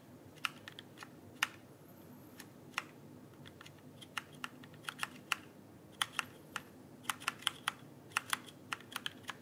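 A backlit plastic mechanical keyboard is held upright while fingertips tap its plastic keycaps in an uneven rhythm. About 28 sharp, bright clicks stand apart over a faint steady hiss, each dying away almost instantly.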